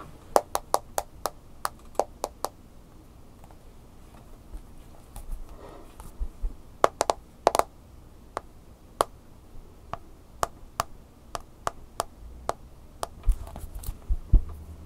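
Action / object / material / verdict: tap / smartphone glass screen in plastic case / glass / none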